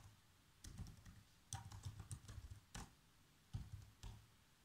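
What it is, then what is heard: Plastic laptop keyboard being typed on. Keys on a black plastic laptop keyboard are pressed by bare fingertips with short nails in continuous typing. Soft, low, thudding taps come in small bursts with quiet gaps between them, each stroke adding a faint bright click.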